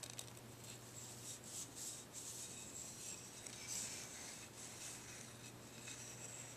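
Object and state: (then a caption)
Deer antler chew. Fingertips and nails scratch and tap along a dark, ridged, solid deer antler dog chew held in the hands. The result is quiet, bright, papery rasping with soft scattered taps over a faint steady low hum.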